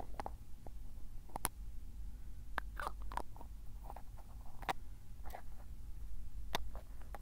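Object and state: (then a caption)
Glass ink bottle with plastic cap. Fingertips twist and tap the black plastic cap of a small square glass bottle of tsuki-yo ink. Short, sharp clicks and taps ring out over soft twisting scrapes, with a steady low rumble underneath throughout.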